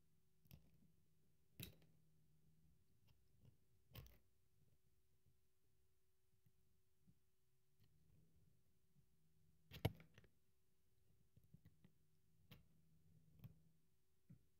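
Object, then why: Bar of soap carved with a metal blade. A solid, cream-colored bar of dry soap is held in one hand and carved and scraped with a small metal blade tool, leaving shavings on the table. Quiet, sharp, brief crunching clicks and snaps sound irregularly over a soft, steady low hum, with faint scraping between cuts.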